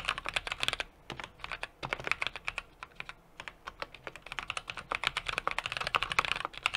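A small 60% mechanical keyboard with an aluminum case, brass plate and plastic keycaps is typed on rapidly with the fingertips of both hands. Bright, crisp key taps come in quick runs, with brief pauses near one and three seconds. Each tap is short and dry with very little low end.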